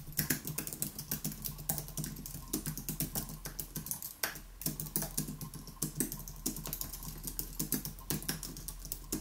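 Both hands type rapidly with their fingertips on a white Apple Magic Keyboard, an aluminium keyboard with plastic keys, resting on a wooden desk. The sound is a steady stream of short, dry, bright clicks with soft low thumps, and each tap dies away almost at once. A faint low hum runs underneath throughout.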